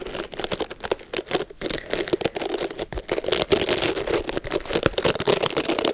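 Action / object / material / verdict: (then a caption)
scrape / boar and nylon bristle hair brush with cushioned pad / boar bristle / none. Long nails rake and scratch through the bristles of a black oval Mason Pearson boar and nylon bristle hair brush with a red cushion, held close to the microphone to clean out hair. Rapid, dense, crackly scratching bursts with a bright hiss and a steady midrange rasp continue throughout, with almost no low end. Each stroke stops dry, with no ring.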